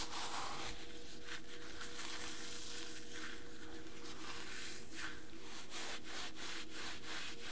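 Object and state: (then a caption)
Dry floral foam being crushed. Crumbled pieces of dry green phenolic floral foam, a light porous solid, are crushed and rubbed between the palms and fingertips of bare hands on a white table, with intact foam bricks beside them. A continuous crisp, gritty rubbing and crunching runs throughout, with faint steady low tones underneath.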